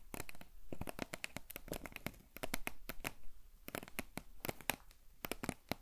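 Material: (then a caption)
Cardboard. Long nails scratch and tap the printed side of a tall, hollow cardboard potato chip canister held close to the microphone. The result is a rapid run of dry, crisp clicks and short scratches with a bright top, each dying away almost at once.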